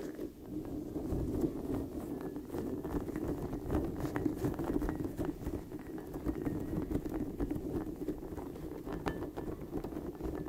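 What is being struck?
Soft rubber spiky ball.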